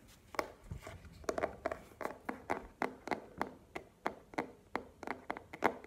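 Long nails tap a small, hollow black cardboard product box held in the hands. The result is a steady series of quick, dry, papery clicks with a mid-pitched hollow knock and almost no ring after each tap.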